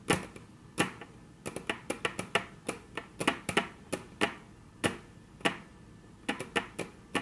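Very long natural nails tap on a flat, solid, dark brown wood-grain tabletop in an irregular rhythm, striking 25 sharp, dry taps that stop almost at once. Some come in quick clusters and others after short pauses, each a crisp click with a bright top and a low woody knock beneath.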